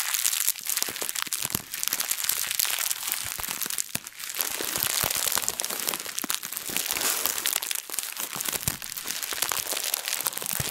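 A translucent plastic bag, balled loosely, is squeezed and crumpled with both hands and long nails. Dense, bright crinkling and sharp crackles run almost without pause, with brief lulls near 1.7 and 4 seconds.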